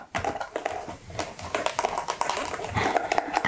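A small, hollow pink cardboard product box with its contents not visible is held up in both hands behind a perfume bottle and tapped with long manicured nails. The result is a rapid, uneven run of light, dry, hollow tapping with short clicks and a faint mid-pitched ring that dies away almost instantly.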